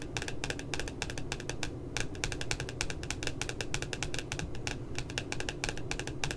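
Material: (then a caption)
Paper. Long nails tap quickly along the left side of the glossy cover of a pink spiral notebook. The taps are short and bright, with crisp clicks that die away almost at once. A steady low rumble continues underneath.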